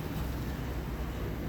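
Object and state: Nothing is struck.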